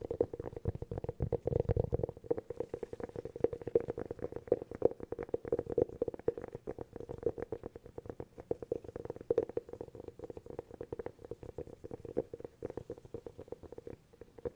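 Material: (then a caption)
Cork. Fingernails tap rapidly and continuously on a hollow cork object, making a steady stream of soft, dry clicks. Each tap has a short, hollow ring centred around 465 Hz and dies away almost at once.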